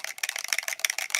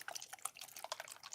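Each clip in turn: First: spray bottle with a metal mixing ball rattling inside. Second: spray paint bottle without a mixing ball.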